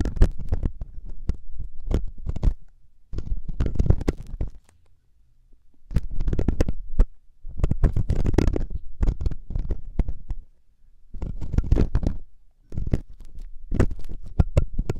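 A metal loop ear pick, held by the fingertips, scratches inside the ear canal of a soft, solid silicone ear on a 3Dio binaural microphone. Bursts of close, deep rumbling scrapes and rapid crackles come in clusters, separated by brief quiet gaps.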